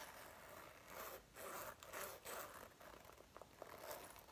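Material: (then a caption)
Faux leather. Fingertips and long nails rub and grip the collar, front and lapels of a dark brown faux leather jacket being worn, near its metal zipper, which may add zipper rattle. Soft, bright rustling and scraping swell in a series of bursts, then give way to short crisp clicks and light ticks toward the end.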